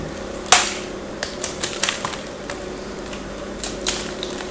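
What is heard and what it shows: A craft knife blade shaves and scratches flakes off a small solid piece of pink and blue bar soap held in the fingers. About eleven sharp, bright scraping crackles stand out over a steady high hiss, each dying away quickly.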